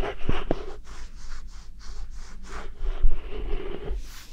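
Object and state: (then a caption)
Korean melon. A whole yellow Korean melon, about hand size, solid with a smooth rind, is held in the hand and scratched and tapped with fingernails and fingertips close to a binaural mic. Soft, repeated scratchy strokes blend with dull, short taps in a quiet, close, low-heavy sound.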